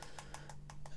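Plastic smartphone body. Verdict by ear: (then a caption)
Solid. Fingers tap on the plastic body of an iPhone 5C in a quick, even series of short, dull clicks, with a steady low hum underneath. The taps sound dense and hard, not hollow like the plastic of cheap Android phones.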